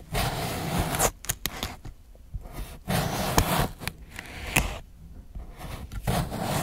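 A steel kitchen knife slices a fresh, solid green cucumber into rounds on a white plastic board. Long, broad scraping strokes alternate with sharp, crisp snaps as the blade cuts through. Short quiet gaps separate the cuts.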